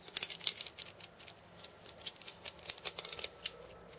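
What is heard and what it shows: Fingertips and painted nails tap and scratch across the steel bead chains of a cabasa with wooden rims. About twenty short, bright, dry clicks and rattles come in an irregular series, each dying away almost instantly, with almost no low end.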